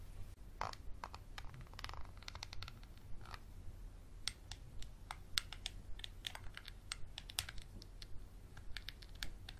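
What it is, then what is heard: Textured glass bottle. A small clear textured glass bottle with a dark cap is scratched and tapped along its ridges with a capped Sharpie marker. Quick, irregular bright clicks and short scratchy strokes cut off almost instantly, over a steady low hum.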